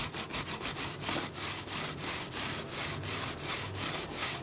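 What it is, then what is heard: Plastic water bottle. Fingertips and nails scratch and rub the ribbed sides of an empty, hollow, clear PET plastic water bottle. The result is a steady run of quick, bright, rasping strokes, close to three per second, each with a soft hollow body beneath and almost no ring.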